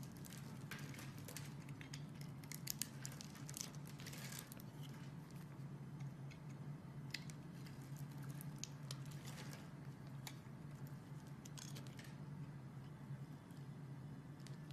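A metal utility knife blade scrapes the face of a solid green bar of soap that is scored in a fine grid and held in the hand, crumbling off small soap cubes. The sound is quiet, dense crisp crackling and crunching with bright ticks, over a steady low hum.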